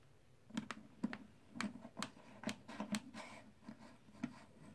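Fingertips lift and stack solid plastic/clay composite poker chips from stacks in a white tray, so the chips click against one another. About eleven short, dry clicks come at an irregular pace, each with a low-mid body near 220 Hz and a bright top that dies away almost instantly over a quiet background.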